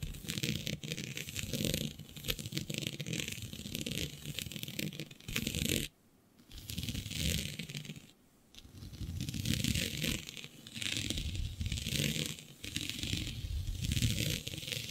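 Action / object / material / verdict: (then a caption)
scrape / synthetic stretch fabric sheet / synthetic fabric / none. Long nails scratch a flat sheet of black synthetic stretch fabric with a shiny dotted pattern. The result is a dense, continuous rasping texture, with a rough low rumble under bright scratchy hiss. It breaks off into near silence twice, around 6 and 8 seconds, before resuming.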